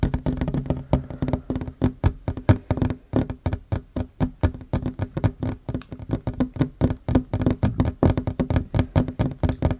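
Both hands fast-tap a flat, solid wooden tabletop with short fingernails, about 52 quick taps in under ten seconds. Each tap is a dull, woody knock with a low, thumpy body and almost no ring, dying away almost at once. The taps come in rapid, uneven bursts and never fully stop.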